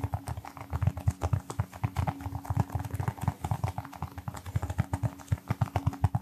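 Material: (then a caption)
Rubber. A small brown textured rubber toy football, likely hollow, is held in one hand and tapped rapidly with the fingertips of the other hand close to the mic. The result is a fast, uneven stream of soft, dull, low thuds centred around 100 Hz that die away almost instantly, with a faint steady hum underneath.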